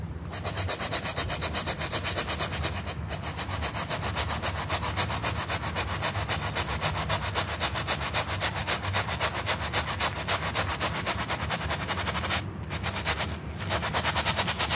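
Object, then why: Small pile carpet sample scrubbed with a stiff bristle brush. A stiff plastic-bristle dish brush with a little soap foam scrubs a small rectangular sample of flat, solid pile carpet with a red W pattern, held by the fingertips. Rapid back-and-forth strokes, about four per second, make a steady, bright, raspy scrubbing with a low rumble underneath. The scrubbing breaks off briefly near 3 seconds and again near 12.5 and 13.5 seconds.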